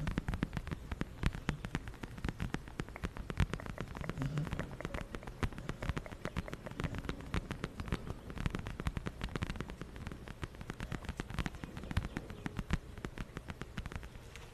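A small brown leather zip wallet is held flat against a furry mic windscreen and tapped and scratched with long nails and fingertips. The result is a dense, steady patter of quick, dull taps mixed with soft scratching, heavy in low thumps with very little high end, and continuing evenly for the whole clip.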